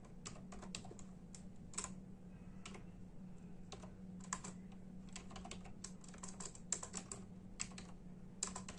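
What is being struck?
Plastic membrane computer keyboard.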